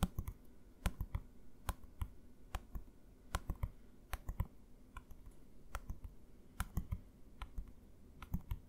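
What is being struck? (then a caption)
Plastic bottle. A medium, green, translucent plastic bottle with a label, hollow and partly filled with liquid, is held upright and tapped with the fingertips and nails. About 26 quiet, short, dry taps come in an irregular rhythm, each a dull low thump with a brief bright click that dies away almost at once.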